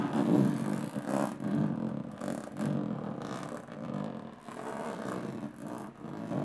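Long nails slowly tap and scratch across the textured lid of a closed, hollow aluminum carry case. The result is a soft, uneven rasping, with dull hollow taps swelling and fading. The sound sits mostly in a warm low-mid range with very little bright top.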